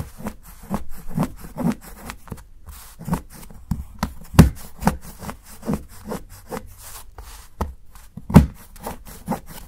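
A steel kitchen knife repeatedly shaves the edge of a solid dark chocolate bar held by fingers, cutting it into a pile of curls. The scrapes are short, dull and low-pitched, coming at an uneven pace with a few louder strokes standing out.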